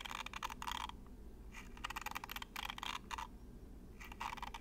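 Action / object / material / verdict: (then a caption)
scrape / plastic toy comb / plastic / none. Long matte nails flick and scratch the row of thin green plastic comb teeth on a small, hollow plastic toy held close to the microphone. Quick, bright, rattling clicks come in several bursts with short pauses between them. A low, steady hum sits underneath throughout.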